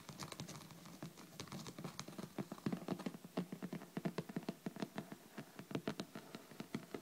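Long red nails and fingertips tap and scratch rapidly on the cover of a thick, solid hardcover book lying flat on a table. The clip starts with soft, continuous scratching, then moves into a fast run of dozens of dry, dull taps with a low-mid thump and very little ring.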